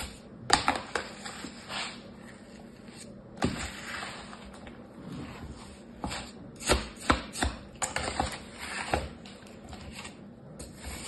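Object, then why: Kinetic sand in a plastic tray. A hand with painted nails uses a small orange plastic toy shovel to scrape and scoop a pile of beige kinetic sand in a light green plastic tray. Soft crunchy, crumbling scrapes rise to about nine brief, crisp peaks over a quiet, steady hiss.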